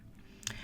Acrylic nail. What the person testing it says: it's hard i've tapped it and you can hear that kind of hollow tapping sound